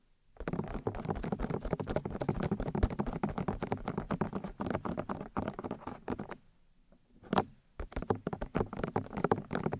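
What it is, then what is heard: Plastic microphone ear housings tapped with nails and fingertips. Long nails and fingertips tap rapidly on the white plastic ear discs of a 3Dio binaural microphone's ear housings, producing a dense stream of short, dull, bassy taps and soft thuds with little ring. The tapping runs steadily for about six seconds, pauses briefly with a single stray tap, then resumes in quick bursts.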